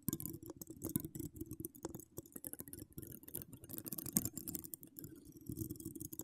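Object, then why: Metal mesh microphone grille. Long decorated acrylic nails scratch the hollow metal mesh grille of an uncovered microphone with wire spirals. The result is a dense, continuous run of quick scratches and clicks with a boomy low body and a bright crackling edge on top.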